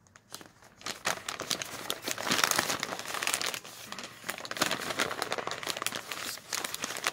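Bare fingertips fold, bend and crumple the pages of a single thin, glossy, printed supermarket flyer with orange and red pages, folded and hollow, resting on a wooden table. Dense, bright crinkling and crackling rises in irregular bursts and keeps going without pause, with almost no low end.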